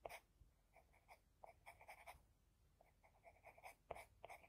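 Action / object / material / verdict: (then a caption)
scrape / graphite pencil on a drawing paper sheet / paper / none. A wooden HB pencil held in the fingers scratches small strokes onto flat white drawing paper while drawing an eye, heard close up. Quiet, dry bursts of scratching with a bright papery hiss come in quick irregular runs, with short pauses between the strokes.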